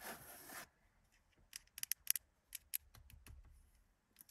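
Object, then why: Plastic steering-column wiper stalk. Long acrylic nails scratch and tap the long, thin, likely hollow black plastic multifunction wiper and indicator stalk on the steering column of a Mercedes 200. A brief, bright, hissy scratch opens the clip, then after a quiet pause come about eight sharp, high, dry clicks that end almost instantly. Soft, low rubbing follows, and a final light tap closes the clip.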